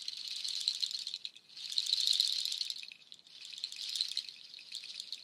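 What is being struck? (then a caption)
String of dried nut shells. A nut shell waterfall shaker, made of dark hollow nut shells strung on white cord, is held high and shaken so the shells rattle. Three swells of dense, bright, clattering rattle rise and fade, with only thin low end. The result is a crisp, shimmering rattle texture that comes in waves.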